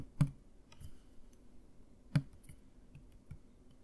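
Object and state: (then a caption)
Plastic mouthwash bottle. A Listerine plastic mouthwash bottle with liquid inside, held upright by the mic, is tapped with fingertips and nails. Two sharp taps stand out among softer ones, each a short, dull, low knock with almost no ring.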